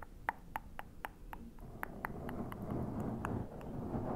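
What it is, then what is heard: Foam microphone windscreen being tapped. Fingertips of both hands tap and rub the sides and top of a black foam windscreen on a Zoom recorder. About a dozen short, dry taps with a faint ping around 900 Hz come at a quick, uneven pace, while a soft scratchy rubbing hiss grows louder through the second half.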